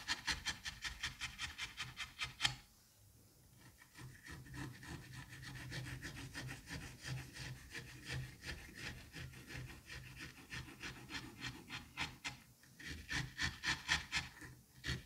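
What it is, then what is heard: Kinetic sand being cut. A thin blade on a white and pink handle is pushed down and drawn through a solid, sliced mound of green kinetic sand in a white dish, cutting and scraping it. A quick run of bright, gritty crunches opens the clip and gives way to softer, continuous rasping strokes. The rhythmic crunching returns near the end.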